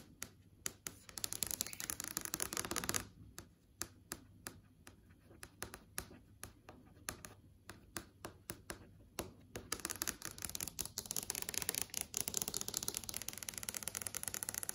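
Long yellow acrylic nails tap and scratch across a large flat TV screen, a plastic or glass panel showing Google Play tiles. Dense, bright scratching gives way to sparse, crisp clicking taps in the middle. Then a quick flurry of scratches and taps builds again toward the end.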